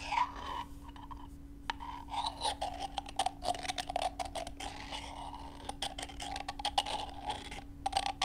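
Two brown chicken eggs, one with a small hole in its shell, are knocked against each other and tapped with long nails. Rapid, dry, hollow clicks and light scratchy scrapes repeat throughout, with a faint resonance around 800 Hz and a steady low hum underneath.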